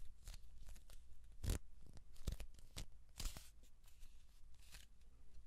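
Hands grip, rub and twist along a hollow kraft cardboard tube with an open end, producing a run of dry, scratchy rasps and soft thumps. Brief broadband swishes reach up into the highs, while most of the energy sits in a low, hollow rumble around 70 Hz. The strokes come in bursts of varying strength, with quieter friction between them.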